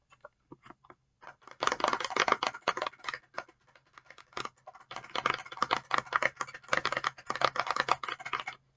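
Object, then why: Plastic spray bottle. A clear, hollow plastic e.l.f. facial oil mist spray bottle, partly filled with blue liquid and held in both hands, is tapped and scratched with long painted acrylic nails. A few sparse, crisp taps open the clip, then dense bursts of rapid clicking and scratching run through the rest, with a brief lull in the middle. There is a faint low hum underneath.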